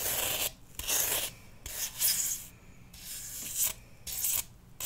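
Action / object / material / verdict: scrape / floral foam block / floral foam / none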